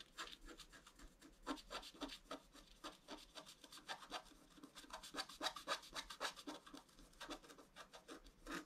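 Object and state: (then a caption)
Scratch-art card being scratched. A wooden stylus scratches a flat scratch-art card of black coated paper, working on the right antler of a deer design with short strokes. Quick, fairly irregular strokes make a bright, dry rasping scrape, each one fading almost instantly, at a quiet level.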